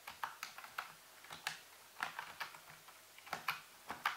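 Fingertips slowly tap the hollow keys of a full-size black plastic computer keyboard resting on a white base, using both hands. Thirteen short, bright clicks land at an uneven pace, each dying away almost at once, over a faint low hum.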